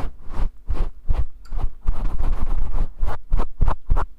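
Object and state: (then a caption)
Faux fur microphone windscreen being scratched. Fingers and nails scratch through the long fibers of a grey faux fur windscreen on a microphone. The result is a string of close, rustling, scratchy strokes with a heavy low rumble, some quick and separate and others blurring together in the middle.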